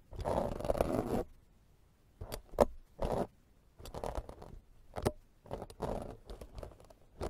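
A black, fist-sized, soft and porous foam microphone windscreen is scraped repeatedly with the serrated metal blade of a green plastic vegetable peeler held in the fingers. A long, dense scratching stroke opens the clip, followed by shorter rasping scrapes separated by quiet pauses. The sound is a dry, muffled, broadband rasp concentrated in the low-mid range.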